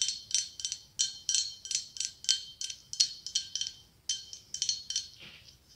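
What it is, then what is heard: Glass pumpkin tapped with nails. Long acrylic nails tap on the ribs of a hollow, ribbed, white blown-glass pumpkin with a gold stem. The taps give bright, glassy clicks with a high ringing tone that dies away fast. They come in quick uneven bursts, with a short pause near the four-second mark.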